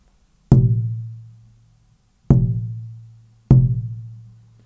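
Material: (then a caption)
Spalted maple. A spalted maple guitar plate is knocked three times, with each tap giving a dull, low thump centered near 130 Hz that quickly fades with almost no high-frequency content. The plate sounds dead and low-Q compared with rosewood: it lacks ringing, sustaining activity and instead absorbs the energy, softer and spongier, with a deadened, quickly decaying response.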